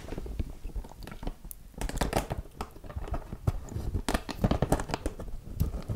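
Long natural nails scratch and tap across the spikes of a small neon-green spiky rubber massage ball held close in both hands. Quick, dense crackling taps and scrapes come in uneven bursts over a soft, low, bassy rustle, sounding close and dry.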